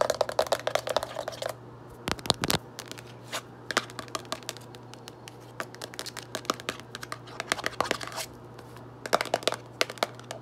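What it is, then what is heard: Cardboard box tapped and scratched. Fingertips and long nails tap and scratch the front and side panels of a closed, medium-size printed cardboard Arm & Hammer litter deodorizer box that is likely full of powder. Quick, dry, bright clicks and scratchy rasps come in irregular bursts with brief pauses, each dying away almost instantly, over a faint steady low hum.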